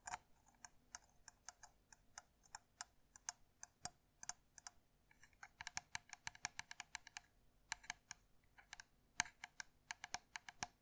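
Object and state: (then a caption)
Plastic lint remover tapped with nails. Long nails tap and scratch the hollow plastic casing of a handheld white and blue electric lint remover with a metal mesh head, held close to the mic. Quick, dry, clicking taps come in irregular bursts, bright and thin with almost no low end. Each tap stops instantly, with no ring.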